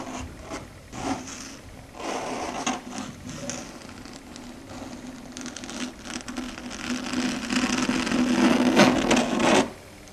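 Very long, pointed red stiletto nails tap and click on a flat, solid, dark grey chalkboard surface, making quick, bright, scratchy clicks at a fairly steady pace. A gritty, sustained tone around 250 Hz builds and grows louder toward the end, then cuts off abruptly just before the clip finishes.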